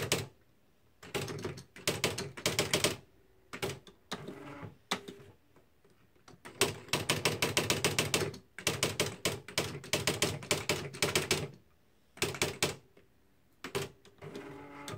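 Fingertips type on the plastic keys of a beige plastic Smith-Corona Mark V electric typewriter with typed paper in the carriage. Bright, rapid clacking comes in bursts of varying length separated by short pauses, over a steady electric hum.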